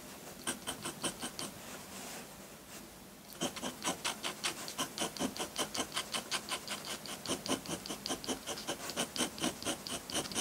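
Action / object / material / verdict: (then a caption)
scrape / paper sheet with metal pen nib / paper / none. A metal dip pen nib scratches dense hatching onto a flat sheet of white drawing paper. Quick, bright, rasping strokes repeat in steady bursts, broken by a softer, quieter stretch of scratching near the start before the rapid hatching picks up again.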